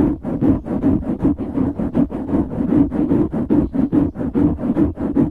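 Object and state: Foam microphone windscreen being scratched.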